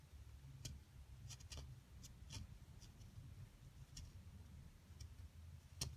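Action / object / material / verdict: scrape / plaster block dug with a metal pick / plaster / none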